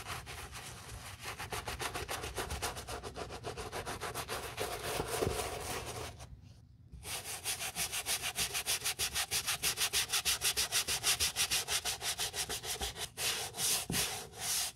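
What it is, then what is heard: Leather boot being scrubbed. A gloved hand scrubs the soapy tongue and upper of a hollow, dusty brown leather boot with a wooden bristle brush, moving it back and forth to clean it. Quick, steady, bright rasping strokes run at about three per second, pause briefly just after the six-second mark, then return louder and more evenly pulsed.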